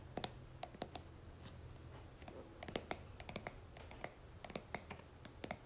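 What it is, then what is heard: Plastic cream jar. A plastic cream jar is held upside down while long nails tap and scratch its white plastic base. The result is a quick, irregular series of sharp, dry clicks with brief bright edges and faint scratching between them, over a steady low hum.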